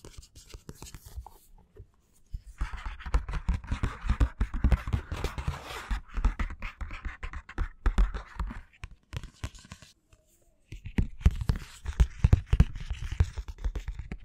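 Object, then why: Paperback book, card cover over paper. A medium paperback book, a solid stack of paper with a black matte card cover, is held in both hands while fingertips and short nails scratch and tap its front cover. Dense, dry scratching mixes with quick, dull low taps that stop instantly, with brief quiet gaps near 2 and 10 seconds before the scratching resumes.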